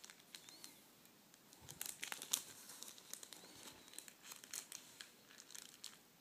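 An empty clear plastic packaging sleeve with a cardboard header is flattened and folded by fingertips on a table. It makes quiet, bright, high crinkles with sharp, short crackles that come in a dense, uneven run, with a few louder snaps near the middle.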